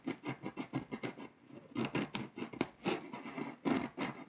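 A pink scraper tool scratches the foil coating along the edges of Hungary on a flat, foil-coated paper scratch-off map. A rapid series of short, dry, papery scratching strokes is heard, bright and rasping with little low end, pausing briefly before resuming.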